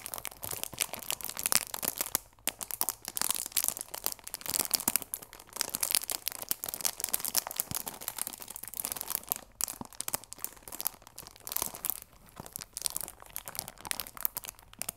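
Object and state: Cellophane-wrapped cardboard box.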